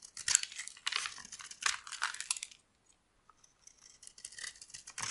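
A small metal blade scrapes and shaves brittle flakes from a solid oval purple bar of dry soap held in the palm. Crisp, bright, rasping scrapes come in quick strokes, pause almost silent for about a second, then resume more softly.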